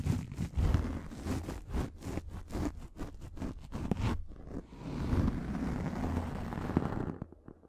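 Long nails scratch and tap a pink, fluffy microfiber makeup remover pad, making a quick run of soft, rhythmic rasping strokes. Next comes a steadier, breathy brushing sound that fades near the end. The sound is muffled and low-heavy, with a faint bright hiss.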